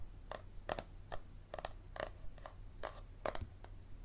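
Fingernails tap and scratch along the spine of a yellow paperback book held at an angle. Thirteen short, dry taps sound over a steady low hum, each clicking with a midrange knock and a brief bright scrape that dies away almost at once.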